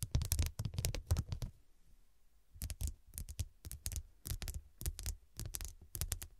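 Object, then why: Fabric cushion covered in glass studs. Long, dark, pointed nails tap and scratch the square faceted glass studs covering a soft, filled, medium fabric cushion. Quick bright clicks and scratches come in rapid bursts over a soft low thud, with a brief pause before the tapping resumes.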